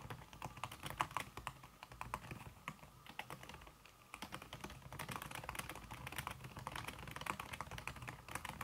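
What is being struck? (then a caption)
Aluminum keyboard with silicone key cover. Fast typing with fingertips and red-painted nails on a slim backlit aluminum keyboard whose keys are covered by a red silicone skin. The keystrokes come as a dense stream of short, soft clicks with quick decay, carrying a muted mid-range tap and a light bright tick, with a brief lull near the four-second mark before the typing picks back up.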